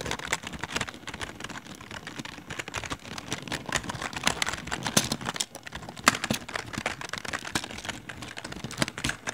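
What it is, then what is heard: Plastic computer keyboard being typed on. Fingertips of both hands continuously press and tap the keys of a full-size plastic LED computer keyboard with rainbow backlit keys and a hollow plastic body. The result is a steady stream of short, bright clicks and clacks with very little ring.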